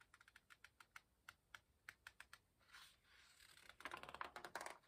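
Fingertips rub the corner of a paper page in an open hardcover book with an illustrated page, then turn the page. A quick, uneven run of soft, dry, bright ticks gives way to a brief, airy rustle as the paper sweeps over. A denser flurry of crisp crinkling clicks follows as the page settles.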